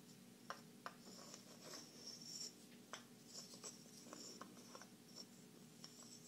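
Small, solid, light-colored wooden puzzle blocks are held in both hands while long nails tap and scratch them and the pieces are knocked and slid against each other. Quiet, bright scratching and rubbing runs throughout, broken by six sharp, short clicks and knocks.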